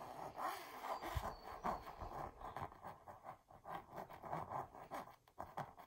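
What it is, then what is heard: Textured canvas wall art. Long purple nails scratch and trace the raised, embossed texture of a red and gold mandala-pattern canvas wall art piece. It makes a quiet run of dry, rasping strokes that swell and fade in quick succession, with a papery midrange rustle and little low or bright content.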